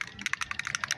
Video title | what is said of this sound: Rust Problem GONE FOREVER #car #viral #trending #diy #vibe #official #doityourself #highlights | shake it until you hear that ball